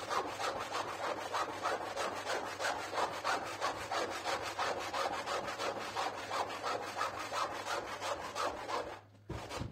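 A pink stiff-bristle push broom scrubs back and forth across a soaked, foam-covered, medium flat-pile printed synthetic rug lying on the floor. The result is a steady, rapid rasping swish of about three strokes per second, with a bright, wet scratchy texture. The strokes briefly drop away near the end and then resume.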